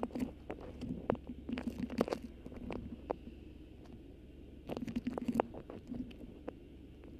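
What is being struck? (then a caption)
Beeswax-coated cotton food wrap. A thin, stiff cream beeswax-coated cotton food wrap with a black botanical print, draped over a microphone, is gripped, crinkled and scratched with long acrylic nails. Quiet, crackly crinkles and sharp scratchy ticks come in two denser bursts over a soft low rumble, with calmer rustling in between.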